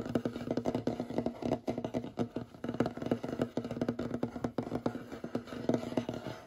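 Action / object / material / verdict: tap / wooden tabletop / wood / none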